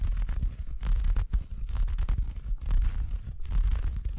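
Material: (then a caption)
Felt. Fingers scratch and rub a large, empty, soft red felt Christmas stocking with a white plush cuff, held close to the microphone. The result is a steady, muffled rubbing and scratching with a deep, boomy low end, broken into uneven bursts by brief pauses.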